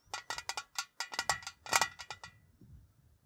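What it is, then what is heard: Tin tea canister. A tall, hollow printed metal Ceylon tea tin, held on its side, is tapped with fingertips and nails. The result is a quick, uneven series of bright, dry metallic clinks with a hollow ring around 930 Hz, each dying away almost at once. The taps fade out after about two and a half seconds.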